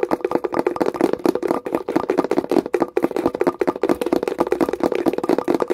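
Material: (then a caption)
Wood. Long nails tap quickly on the top edge, rim and lid of a small wooden box, making a dense run of short, dry clicks. The taps are centered in the low midrange with little deep bass or bright top, and each dies away almost instantly with no ring.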